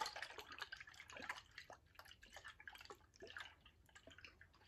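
A tall VOSS glass bottle, partly filled with liquid, is tilted and shaken sideways so the liquid sloshes while fingernails touch the glass. The sound is a quiet, rapid stream of wet splashes and light clicks with a bright, thin tone and almost no low end. It is strongest in the first second and a half, then continues more softly.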